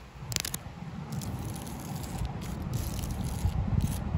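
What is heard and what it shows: Long lilac acrylic nails scratch and tap the rough, cracked bark of a large, solid living tree trunk outdoors. The result is a steady, uneven run of dry, crackly scraping with soft low thuds and brief bright ticks.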